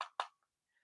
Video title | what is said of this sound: Checking out my toku collection so far - Marcosatsu LIVE | you would think it's just a cheap little plastic bootleg because it feels hollow, it sounds hollow